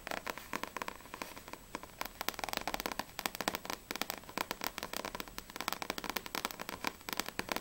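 Long acrylic nails tap fast on a small, solid paperback manga book, volume 3 of Blue Exorcist, with a glossy paper cover. The result is a steady, rapid run of many sharp, dry, clicky taps with a bright, papery edge and almost no low end. Each tap stops instantly with no ring.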